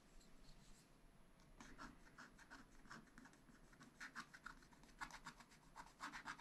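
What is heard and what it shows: A wooden stylus scratches long strokes across a black wax-coated scratch-art sheet in a spiral-bound pad. Soft, dry scraping rasps repeat in quick bursts over a faint low hiss, with brighter, sharper scratches toward the end.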